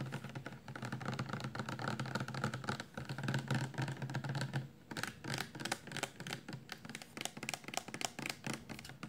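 Long nails tap and scratch a 400 mL clear plastic shampoo bottle, full of amber liquid and held upright in both hands. The result is a fast, irregular stream of dry, short clicks with scratchy rustling between them. A low body hum is heard under the first half.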